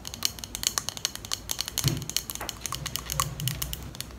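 Long pink nails tap and click rapidly on a small clear glass perfume bottle with a pink plastic cap and a small item inside, held close in front of the mic. The sound is a dense run of sharp, bright ticks with short glassy rings, plus a soft low rumble from handling underneath.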